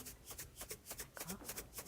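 A closed box, number 2, holding fine salt is shaken in repeated bursts, giving a dull, soft rustling swish with bright hiss on each shake. The contents are confirmed to be fine salt, not rice.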